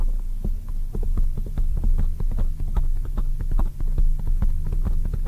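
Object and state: Foam microphone windscreen.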